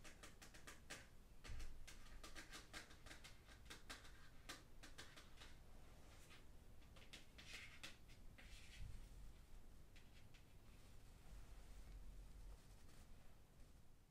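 The paper cover of the solid, closed 'Hedendaags China' book, held up and then resting on satin, is rapidly tapped and scratched with long metal finger claws worn over satin-gloved fingers. Quick, bright clicking taps come in dense bursts over scratchy rustling, with a steady low rumble underneath and a couple of duller thumps.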